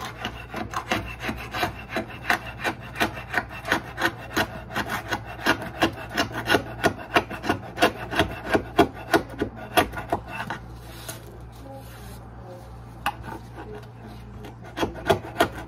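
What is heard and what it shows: A gloved hand scrapes a flat metal scraper blade along the exposed, solid particleboard edge of a kitchen countertop where the sink was removed, working at the old caulk residue left along it. Quick, dry rasping strokes repeat at a steady pace for about ten seconds, then pause briefly. A few more scrapes follow near the end, over a constant low hum.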